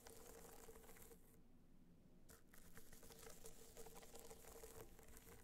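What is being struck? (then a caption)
Small rigid box clutch with a textured metallic shell. Long nails scratch and tap a small, rigid, hollow gold hard-shell box clutch covered in gold metallic material with raised dots, held on its side. A quiet, dense, scratchy patter runs throughout with a faint steady tone near 440 Hz; the bright crackle briefly drops away for about a second in the middle before resuming.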